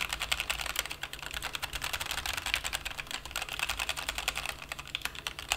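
Fingertips type quickly on a white-cased plastic mechanical keyboard with black and white plastic keycaps resting on a felt desk mat. A steady stream of short, bright clacks with little low end, each dying away almost instantly.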